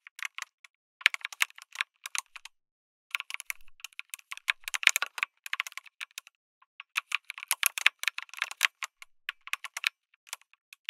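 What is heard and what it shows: Fingertips of both hands type steadily on an RGB-lit MonsGeek M1 mechanical keyboard with an aluminum case and red and grey plastic keycaps, resting on a dark desk. Quick, dry, bright clicks and clacks come in bursts with short pauses between them. The sound is almost all high-frequency and has no low thump.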